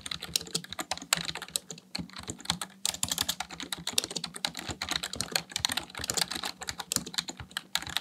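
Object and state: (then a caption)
Plastic computer keyboard being typed on. Fingertips type rapidly on a black plastic full-size computer keyboard resting on a desk. Dense, bright, clicky keystrokes patter quickly with very short decay, and a faint low hum sits underneath.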